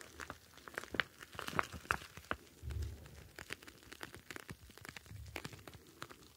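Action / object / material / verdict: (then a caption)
scrape / plastic pouch of gel beads / plastic / none. Fingertips squeeze and rub a clear plastic gel bead ice pack, a pouch filled with blue gel beads, producing quiet crinkling and crunching with many sharp, bright clicks. Soft low rumbles swell in twice as the pouch is pressed, around the middle and again near the end.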